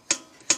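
The metal dashpot piston of a Stromberg carburettor is lifted and dropped twice onto the jet assembly to check that the jet is centred on the needle. Each drop lands as a sharp, bright metallic tap with a very short ring. This distinct tap is the correct sound, showing the jet is centred.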